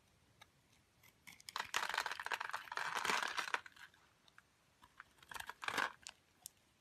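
A metal utility blade shaves small cubes off a solid light-blue rectangular bar of soap scored in a grid. Dense, crunchy crackling bursts centered near 1.5 kHz, with bright edges, swell for about two seconds, then return in a shorter burst. Scattered faint ticks sit between them, and the whole clip stays quiet with no low end.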